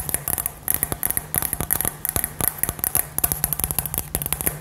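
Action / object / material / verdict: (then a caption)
tap / hollow glass ornament ball / glass / none. A hand-sized hollow light-up glass globe filled with gold glitter and fairy lights is held in both hands and tapped and scratched with long nails. A quick, uneven run of short, dry clicks and scratches is heard, each with a bright, high glassy tick that dies away almost instantly, over a faint steady low hum.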